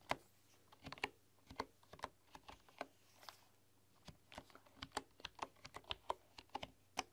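Fingertips and long, dark-polished nails tap and type on a full-size keyboard with a bamboo body, bamboo keycaps and a hollow case. About 24 short, dry clacks in irregular bursts have a woody, hollow tone centred near 1 kHz with bright clicky edges. A quiet, steady low hum runs underneath.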